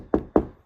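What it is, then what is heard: Polymer car hatch panel. Two knocks on the polymer rear hatch panel of a car give two short, dull thuds, centred in the low mids around 300 Hz with almost no high end. Each dies away quickly, with no ring.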